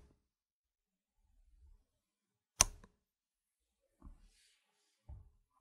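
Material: Plastic.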